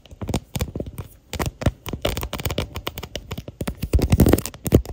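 Long natural nails tap and scratch the back of a smartphone in a clear plastic case with a white floral print, near the camera bump, picked up by the phone's own microphone inside the case. Rapid, dry clicks with a close, boomy low thump mix with brief scratchy rustles. Each hit dies away almost at once.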